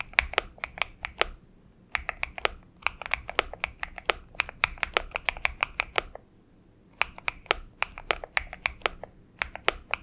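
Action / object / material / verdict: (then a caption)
tap / mechanical keyboard with PBT keycaps / PBT plastic / none. Both hands type with fingertips on a purple Xinmeng M71 mechanical keyboard with PBT keycaps. The result is a steady run of short, bright clicks in three bursts, separated by brief pauses.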